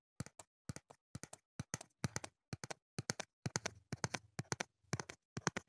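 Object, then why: Small cardboard box. Fingertips and short nails tap on the sides of a small, hollow, printed cardboard retail box of foam earplugs held in hand close to the mic. The taps come in quick, irregular bursts of two or three, each a dry, hollow knock with a low thud and a bright papery click. They stop dead with no ring, leaving short silences between bursts.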